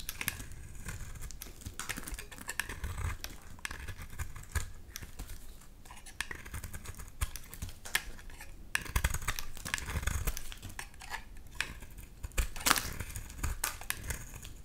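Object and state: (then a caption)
Bar soap being cut and scraped. A blade cuts and scrapes chunks and curls from a solid lilac bar of soap, giving a dense run of quick, dry scratching and crisp clicking strokes. Each stroke stops almost instantly, with bright scraping noise over a low, dull body.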